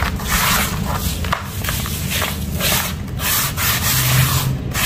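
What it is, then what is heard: Dry crumbled dirt powder. Bare fingertips and palm rub, press and scratch through a large bowl of loose, dry crumbled red dirt powder. A continuous gritty, sandy hiss with a low rumble underneath swells and dips with each stroke.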